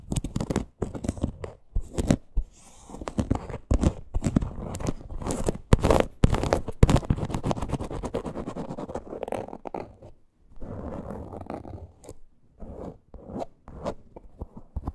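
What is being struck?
Faux leather purse.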